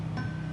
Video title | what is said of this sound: Fender Blues Junior......Has the blues??? | I get a little bit of a ring now